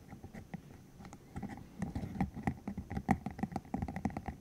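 A green hollow silicone cylinder about 15 cm long with rubbery spikes is held in the hands while the spikes are flicked, squeezed and rubbed with fingertips. Soft, dull rubbery taps and squishy thumps sit mostly in the low range, starting quiet and sparse and growing into a denser, louder run of quick flicks. Each hit dies away almost at once, with little bright content.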